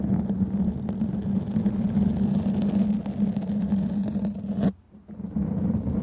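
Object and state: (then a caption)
Foam microphone windscreen being scratched. Long painted fingernails scratch and tap on a black foam microphone windscreen, producing a dense, muffled rumbling scrape with a steady low hum. Near the end the sound cuts out abruptly for about half a second before the scratching resumes.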